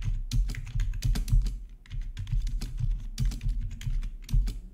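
A full-size black plastic membrane gaming keyboard with an RGB backlight and a hollow housing rests on a marble surface. Fingertips of both hands type on it in a steady run of short, dull, hollow taps with a deep low thump. Brief clicky high ticks sit above the thump, and each press dies away almost at once.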